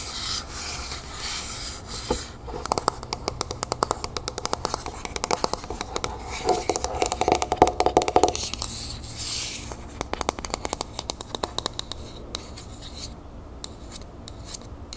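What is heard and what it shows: Long nails scratch and rub a medium, hollow, copper-colored Vaseline metal aerosol spray can, first upright and then tilted. Dry, hissy scraping gives way to rapid, sharp clicks and taps, with a faint ringing tone near 730 Hz from about 6.5 to 8.3 seconds.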